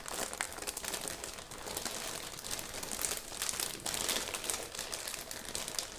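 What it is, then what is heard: Plastic zip bag with rubber gloves inside. A clear, thin, medium-size plastic zip bag holding pink rubber gloves lies on dark fabric and is rubbed and pressed with fingertips and palms, then smoothed flat. The result is a steady, dense, bright crinkling and crackling of plastic, with little low end and small swells in loudness throughout.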